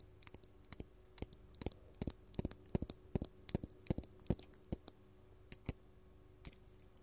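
Long gold metal claw nails worn as finger jewelry tap and scratch a large, solid, faceted purple artificial glass crystal gem. Quick, uneven bursts of sharp, bright clicks ring off almost instantly, with brief scratchy strokes over a faint steady low hum.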